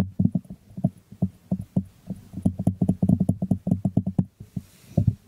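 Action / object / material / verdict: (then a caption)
tap / small glazed ceramic jar / ceramic / none. Fingertips tap and scratch the glazed bottom of a small, hollow white ceramic jar held sideways. The result is a quick, irregular patter of dull, low, hollow knocks that die away almost instantly, with faint scratchy texture between them.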